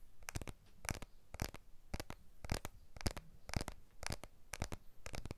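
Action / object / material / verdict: tap / smartphone, glass back and aluminium frame / glass / none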